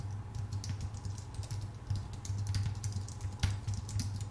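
Both hands type with their fingertips on a full-size white Apple Magic Keyboard, its plastic keycaps set on a thin aluminum body. A steady stream of quick, light clicks and taps rides over a constant low hum near 100 Hz, with bright, brief key transients that die away quickly.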